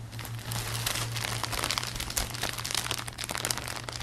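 Fingertips grip and rub the clear thin plastic film wrapped around a stack of soft grey and blue acoustic foam panels held in front of the body. The plastic gives a steady run of dense, bright crinkling and crackling over a low, constant hum.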